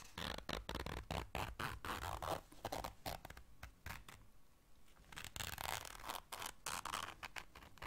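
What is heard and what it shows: Long dark nails zip and scratch a small round black fabric zipper case held in the hands. Dense, rapid bursts of dry scratching and zipping rasp across a broad range, ease into a quieter, softer stretch in the middle, then pick back up to the end.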